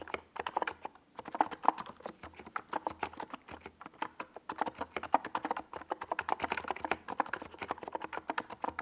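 A compact NiZ Plum Atom 68 keyboard with a hollow white plastic case and purple Domikey Gas Attack SA plastic keycaps is typed on rapidly with fingertips. Dozens of quick, dry, mid-pitched clacky keystrokes follow one another with a short pause near the one-second mark, each dying away almost instantly.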